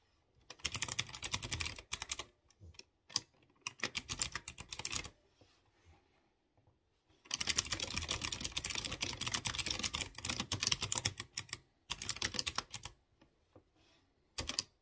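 Fingertips type on a typewriter-style mechanical keyboard with round chrome-rimmed keycaps over exposed blue switches. Bursts of rapid, bright, clicky keystrokes come in uneven runs, separated by short quiet pauses and a few isolated taps. The longest run is in the middle of the clip.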